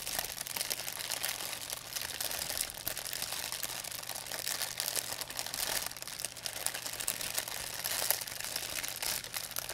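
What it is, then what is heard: Thin plastic bag being crinkled. An empty, thin white plastic pharmacy bag is squeezed and crinkled in both hands with long nails. It makes a continuous, dense, bright crinkling and crackling that stays fairly steady in level throughout, with a faint low hum underneath.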